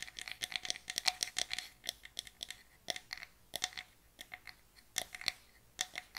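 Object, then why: Small closed pine wooden box. Long nails tap and scratch on a small, closed, hollow box of light pine wood, producing a rapid, irregular run of short, dry clicks mixed with brief scratching strokes. The sound is thin, bright and high, with almost no low end and no ring after each contact, coming in clustered bursts with short pauses between them.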